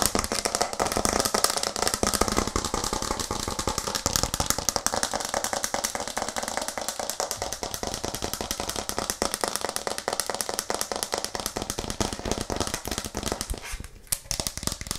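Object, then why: Plastic cutting board. A white plastic cutting board with green edges is held upright in both hands close to the microphone and tapped rapidly with long nails. The result is a dense, continuous stream of sharp, bright clicks and rattling taps with almost no ring, easing briefly just before the end.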